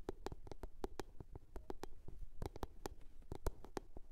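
A blue box is tapped and scratched. Quick, dry taps come in an irregular rapid series, each a short click with a brief hollow tone around 400 Hz over a soft low thud and a bright edge. Faint scratching sits underneath, and each tap dies away almost at once.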